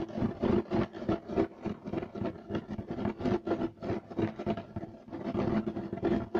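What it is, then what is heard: Woven fiber carpet being scratched. Fingertips and short nails scratch quickly across a beige striped woven fiber carpet on the floor. The result is a fast, uneven run of dry, raspy scratching bursts with a hollow, boxy low-mid tone, each stroke stopping short with almost no ring.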